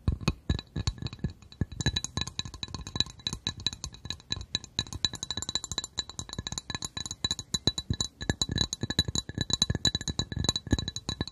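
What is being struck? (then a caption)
Glass coaster. A glass coaster is tapped in rapid, continuous bursts, giving a dense run of short, bright clinks that die away almost instantly. Each tap also carries a soft low thud beneath the sharp high ringing tones.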